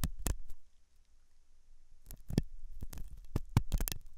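A hooked metal dental tool scratches inside the ear canal of a white translucent soft silicone rubber ear model, likely on a binaural ear microphone. Close, dull, low scratching and scraping bursts come in quick clusters, separated by a quieter pause near the start.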